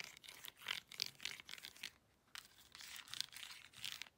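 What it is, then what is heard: Plastic remote control tapped and scratched with nails. A handheld plastic LED remote control with rubber buttons is tapped on its buttons and scratched along its edges with long acrylic nails. The result is quick, bright clicks and scratchy rustling, almost all high in pitch with little low end. The sound runs in two bursts separated by a brief pause.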